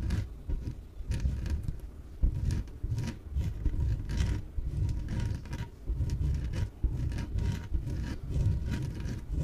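Long painted nails scratch and tap the surface of a small yellow, hollow, air-filled inflated PVC exercise ball held on a table. The result is a steady run of dull, muffled low thumps and soft rubbery scrapes with very little brightness, and a faint steady tone sits beneath them.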